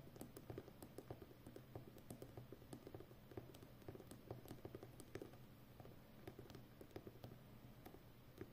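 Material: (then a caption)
Plastic. Fingertips and long nails of both hands tap and scratch the outer rim of a full roll of brown plastic packing tape on a hollow cardboard core. A quiet, rapid patter of short, dull taps with brief bright clicks runs throughout over a steady low hum.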